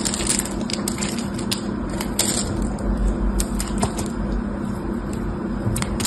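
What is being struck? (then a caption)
Dried clay block. A solid, palm-sized block of red dried clay, held in the fingers, is scraped and cut with a craft-knife blade so it cracks and crumbles. Sharp, bright crackles and clicks pop out over a steady low hum and dense gritty scraping throughout.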